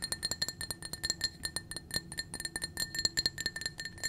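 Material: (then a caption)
Glass. Long nails tap rapidly on the sides and rim of a small, clear, blue-tinted drinking glass that is empty. About 25 quick, bright clinks sound in fast succession, each carrying a short glassy ring with high tones around 2 kHz that die away almost at once.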